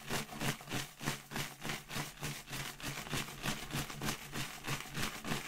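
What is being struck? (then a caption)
Latex balloon filled with confetti. A clear inflated latex balloon with confetti inside, held by the knot with long red nails, is shaken so the confetti rattles. The result is a steady rhythm of bright, papery rustling bursts, about three per second, each cut off quickly, over a low steady hum.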